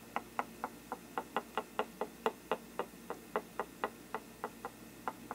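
A thin brush handle taps and knocks the upper rim and side of a hollow faux-parchment paper lampshade. It makes 21 short, dry, hollow knocks in a loose, uneven rhythm, each centred in the midrange and dying away almost at once.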